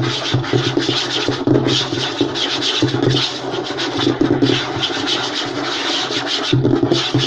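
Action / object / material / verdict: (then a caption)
scrape / light wooden table top / wood / none. Short nails and fingertips scratch and rub fast across a flat, light wooden tabletop. The result is a steady, dense rasp with a bright, hissy top and a low woody undertone, marked by brief louder swipes throughout.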